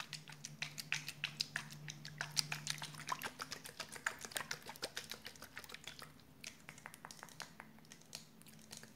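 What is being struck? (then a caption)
Plastic spray bottle partly filled with water. Long purple nails tap and scratch the surface of a round, clear plastic spray bottle with a red cap, partly filled with water. The result is an irregular run of dozens of quick, bright clicks with almost no ring, over faint scratching and a low steady hum.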